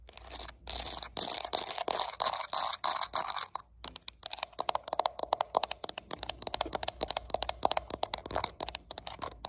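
Long acrylic nails scratch and tap the back and edges of a translucent hard plastic smartphone case with a printed flower design, while the phone itself records. The first few seconds are dense, bright scratching, followed by a quick run of sharp, dry clicking taps with a crunchy, crinkly texture.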